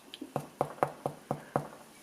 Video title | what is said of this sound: Yorkshire Bread Making in 7 steps Damaris Armstrong | the test is just to give it a knock. If it sounds hollow, you're all right.